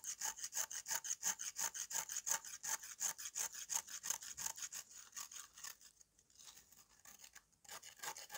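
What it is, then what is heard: Dried mud slab scraped with a knife. A knife blade scrapes the surface of a solid, powdery dried red mud slab, shedding red dust. Quick, steady rasping strokes with a bright, high hiss repeat about three times a second. Around the midpoint they thin out into softer, sparser scrapes before a few firmer strokes return at the end.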